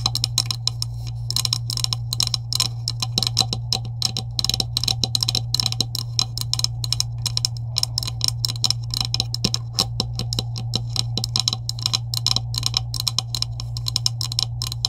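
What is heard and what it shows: Long acrylic nails rapidly tap the middle section of a green, hollow plastic PVC pipe with couplings. The result is a continuous stream of short, bright, clicky taps with very little ring, over a steady low hum.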